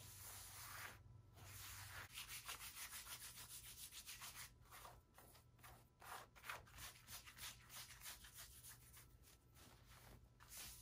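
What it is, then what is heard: Cotton T-shirt with screen print, scratched. Fingertips and nails scratch and trace along the front of a worn blue cotton T-shirt, rubbing across both the fabric and its screen-printed graphic and text. Quick, bright, scratchy rubbing strokes come in an uneven rhythm of roughly three per second over a faint low hum.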